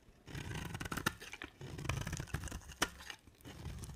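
A utility knife blade scrapes and carves curls and flakes off a dry, solid white, hand-sized soap bar with a thin dark coating, held in one hand. Low, rough scraping runs throughout, broken by a few sharp, bright clicks as the blade catches and chips the soap.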